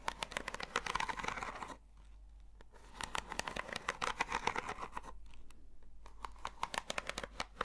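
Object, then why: Corrugated cardboard box. Long nails scratch a hollow, long, textured corrugated cardboard box, held horizontally and then upright. Dense, dry, crackly scratching strokes with a bright edge come in quick succession. The scratching eases into quieter, softer stretches twice before picking up again.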